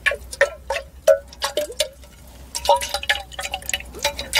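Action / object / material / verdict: tap / glass decanter with water / glass / none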